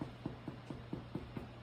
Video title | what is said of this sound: Easy Egg Bread | you want to make sure that it sounds Hollow when you tap it